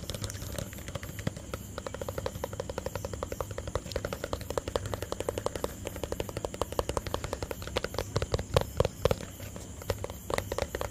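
A small hollow white plastic tub, held in one hand, is tapped rapidly with fingertips and nails. The result is a long run of quick, dry clicks and taps with a hollow mid-range ring near 520 Hz, growing louder and more distinct toward the end over a steady low background hum.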